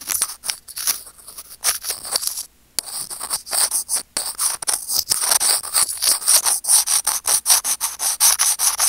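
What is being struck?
Plastic earphone mic remote.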